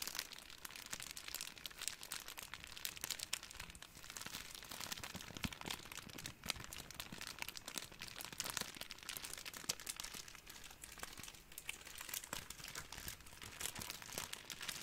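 A hand-sized ball of clear, thin, crumpled plastic cling wrap is squeezed and crinkled with the fingers for about 15 seconds. It makes a steady, dense stream of soft, bright crackles and crinkles, mostly high in tone with little low end, with very short, dry snaps and no pauses.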